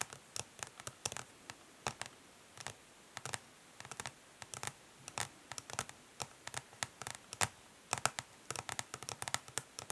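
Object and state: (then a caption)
Plastic makeup palette case. Long nails tap and lightly scratch the smoky clear, ridged plastic back of a makeup palette case lying on cloth. About forty quick, sharp, dry clicks come in uneven bursts, bright and crisp with almost no ring. Soft scratchy rasps sit between them over a quiet background.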